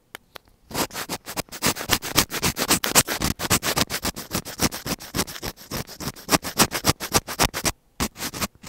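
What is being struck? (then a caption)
Plastic earphone inline microphone. A thin black pointed tool scratches at the tip of a small, hollow white plastic inline mic on an earphone cable. Dozens of quick, dry scraping strokes come in a fairly steady rhythm, each one bright and crackly with little low end. The scratching runs almost continuously, with a short pause near the end before a few final strokes.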